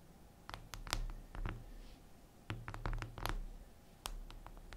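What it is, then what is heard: Glass mirror surface tapped with fingernails. Long acrylic nails scratch and tap across a flat, solid, reflective glass mirror tabletop. Quiet, irregular bright clicks and short scrapes sound over a low, steady hum.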